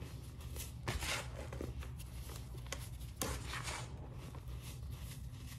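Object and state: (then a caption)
Loose cleanser powder being crumbled. Bare hands dig into a large mound of fine grey-white Comet cleanser powder, squeezing clumps and crumbling them back onto the pile. Soft, dry crunching and hissing rustles play over a steady low rumble, with brighter, sharper crumbles standing out at about one second and again just after three seconds.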